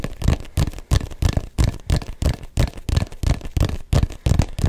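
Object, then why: Small inflated rubber soccer ball. Fingertips and nails tap and scratch the textured rubber surface of a small, hollow, inflated neon-yellow soccer ball. The result is a quick, uneven string of dull, low thumps with short, crackly scratching between them, each tap dying away almost at once.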